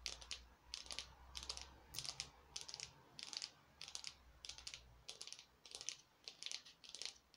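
A small glittery orange craft pumpkin made of foam or plastic is held in both hands and tapped with long nails on its ribbed sides. Quick bursts of crisp, bright clicking taps repeat in a loose rhythm, each dying away almost instantly. A faint low hum sits under the first part.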